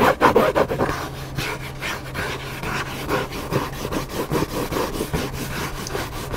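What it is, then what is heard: Hardcover book cover scratched. Fingertips and nails scratch the cover of a flat hardcover cookbook with a black spine in repeated strokes. Dry, rasping scrapes come in a quick, uneven rhythm, louder and busier at the start, then settling into steady rubbing with a faint low hum underneath.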